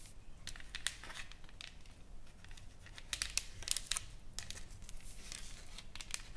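Long painted fingernails tap and scratch a solid, flat wooden plaque painted with flowers and lettering as it lies on a table. The sound is quiet, with sharp, bright clicks and dry, crinkly scraping rasps that stop almost instantly with no ring.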